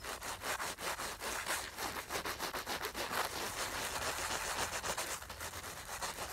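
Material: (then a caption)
Nylon fabric. Long nails scratch and rub along the soft black nylon fabric and seam of a filled makeup bag. The result is a continuous, dense, bright rasping scrape with rapid rhythmic strokes and little low end.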